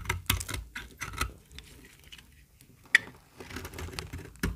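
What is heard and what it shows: A small, solid, very dry white bar of soap is held in the hand and shaved with a metal utility-knife blade. It makes a series of short, crisp, crackling scrapes with dry, brittle flakes and almost no ring, plus one sharp, bright snap about three seconds in.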